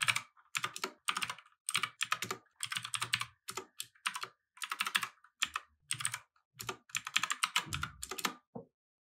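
Both hands type steadily on a compact mechanical keyboard with plastic keycaps on a wooden desk. The result is bursts of crisp, bright, short clicks with quick decay and brief pauses between runs. There is no speech.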